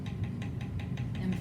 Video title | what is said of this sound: Trimming Revamped and Burnishing | it sounds thick if it sounds hollow then you got to be careful this sounds pretty thick